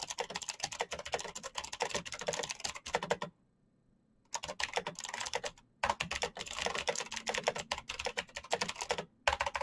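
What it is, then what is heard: Plastic mechanical keyboard. Fingertips type fast on a full-size black plastic Razer mechanical keyboard with clicky green switches and RGB backlight, making dense bursts of sharp, bright clicks. The typing stops for about a second near the 3-second mark, then resumes with two brief pauses before the end.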